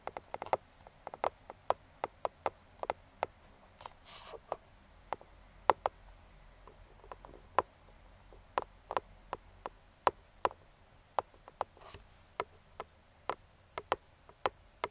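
Pointed metal claw finger rings tap and scratch a hollow, printed cardboard box for a Neewer speedlite flash lying flat. Dozens of sharp, dry clicks with almost no ring sound out at an irregular pace, centered around 870 Hz. A couple of brief, bright scratching rasps occur between them.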